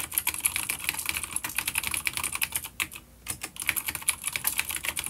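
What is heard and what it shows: Both hands type rapidly with their fingertips on a full-size dark grey plastic vintage mechanical keyboard with grey and dark keycaps and vintage clicky blue switches. The keyboard is an older B-grade unit resting on a wooden desk. A dense stream of sharp, bright clicks sounds, each dying away almost instantly, with a brief pause just after the three-second mark.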